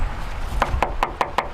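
Knuckles rap five times in a steady rhythm on another car's thin body panel, which is contrasted with the Smart car's all-steel frame. Each knock is short and hollow with a tinny, plastic-like ring centred around 800 Hz, over a low background rumble. The panel sounds flimsy, like a tin can, the kind that would crumble in a crash.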